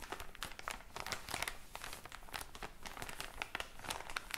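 A tall, soft package full of cotton pads, wrapped in thin plastic film with a white and pink label, is held in the hand and squeezed and crinkled by fingers with long blue-painted nails. A steady, dense stream of quiet, bright plastic crackles is heard, with sharper crisp snaps popping out throughout and a soft low rustle underneath.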